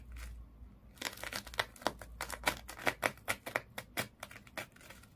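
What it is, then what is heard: Sisal rope fish toy. Long nails scratch quickly along the coils of colored twisted sisal or jute rope wrapped around a small fish toy lying flat. The result is a rapid series of dry, bright, crackling rasps, each stopping short with almost no ring.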